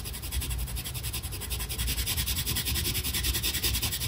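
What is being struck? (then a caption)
Paper sheet and colored pencil. A brown colored pencil is pressed hard and rubbed back and forth across a flat paper coloring page in dense, rapid strokes. The result is a steady, scratchy rasp with a bright hiss over a low rumble, pulsing slightly with each quick stroke.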